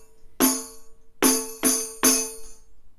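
A round hand tambourine with a white stretched head on a frame with metal zils is held in one hand and struck four times on the head with the flat fingertips of the other hand. Each tap gives a short drum thump with a low ringing tone and a bright, shimmering rattle of the metal jingles that fades within a moment.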